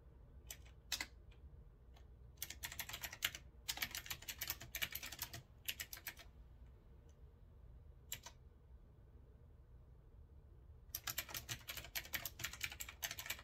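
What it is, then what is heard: Mechanical keyboard typing. Fingertips type on a backlit retro typewriter-style mechanical keyboard with a metal frame and round keycaps, resting on a wooden desk, pressing its key switches. Bright, crisp clicks come in quick irregular bursts separated by short pauses, with a long quiet stretch in the middle before fast typing resumes. A faint low background rumble sits beneath the keystrokes throughout.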